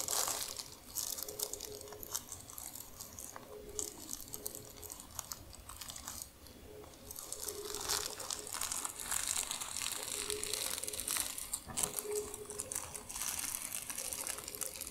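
Long nails scratch and crumple a large, thin, crinkled sheet of tissue paper spread flat. The result is a dense, bright crackle of crinkling and rustling that quiets briefly near the middle, then grows louder and busier. A faint steady low-mid tone hums underneath throughout.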